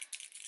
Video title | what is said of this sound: Testing New Holiday Makeup- Hourglass, Charlotte Tilbury, Fenty Beauty & more | you have to shake it until you hear that